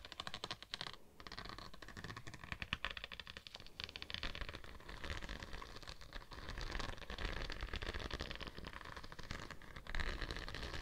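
A slim decorated rod-like tool, possibly metal, held in long-nailed fingers, is scratched and rubbed across a thin, flexible purple holographic vinyl sheet with a raised scale pattern, draped over a microphone. The result is a steady, quiet stream of dense, crackly scratching and rustling with a heavy low rumble. Brighter scraping textures come and go throughout.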